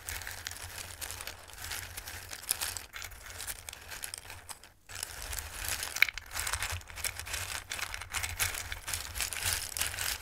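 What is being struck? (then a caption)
Bowl of raw pasta pieces. Both hands dig into a dark bowl full of hard, dried Christmas-shaped raw pasta, rustling and shuffling the pieces with their fingertips. The result is a dense, bright stream of crisp clicks and crinkling rattles over a faint low hum, with a brief near-silent pause around the middle.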